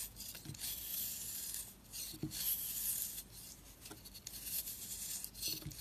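A flat blade repeatedly scrapes the surface of a round, solid, dry soap bar marbled orange and purple and held in the hand, lifting powdery curls. The sound is a steady, bright, dry rasping with a few soft low knocks as each stroke starts.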